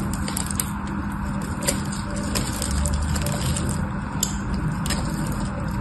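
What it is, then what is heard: Orange bar soap. A metal knife scrapes crumbly flakes off a solid orange bar of soap held in one hand. The result is a steady, dense crackling scrape with a heavy low rumble, broken by occasional sharp, bright ticks as flakes break away.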